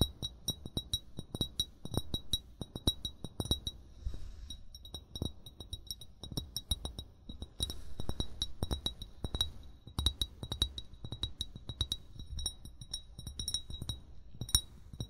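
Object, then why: Glass bottle. An upright, hollow amber (brown) glass wine bottle, fill level not visible, is tapped rapidly with the short fingernails and fingertips of both hands. The irregular, quick taps give dull, low thuds mixed with bright, glassy clinks. Each tap dies away almost at once with no lasting ring.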